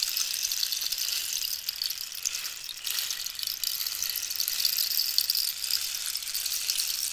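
Long nails scratch and tap the textured wood of a hollow, dried cactus wood rainstick held horizontally. The result is a continuous, bright, hissy rasp of fine scratches and tiny clicks, sitting almost entirely in the high range with no low end. The level stays fairly even, dipping slightly around the middle.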